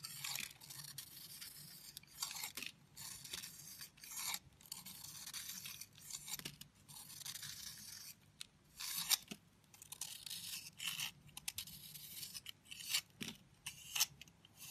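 A solid purple-pink heart-shaped soap held in the palm is cut and scraped with a red-handled utility knife blade. Short bursts of bright, dry scraping and crisp shaving cut in and out, with brief near-silent pauses between strokes. The sound is almost entirely high-pitched, with very little low end.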